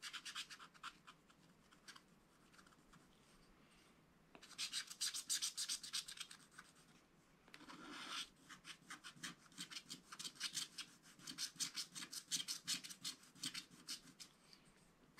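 A wooden stylus scratches the black wax coating of a small spiral-bound scratch-art pad while the other hand holds the pad flat. Quick, bright, raspy strokes come in bursts, with a quieter stretch early on and a longer drawn stroke near the middle, before steady rapid scratching resumes.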